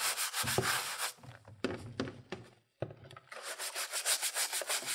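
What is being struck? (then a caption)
ABS plastic console top shell. A gloved hand scrubs the yellowed, hollow ABS plastic top half of a Super Nintendo console case with a handheld pink-bristled plastic brush while it sits in a tub of soapy water. Rapid, bright, bristly scrubbing strokes hiss at an uneven rhythm, then ease into quieter scrapes with a few sharp clacks and a brief silence before the brisk scrubbing resumes.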